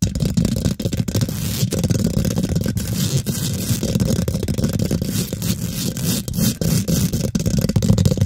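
Long pink glitter nails scratch fast across the hollow, rounded steel wire-mesh grille of a condenser microphone, filling it with a dense, continuous scraping rustle. The sound is heavy and boomy in the lows, with rapid strokes blurring together and only a faint bright hiss on top.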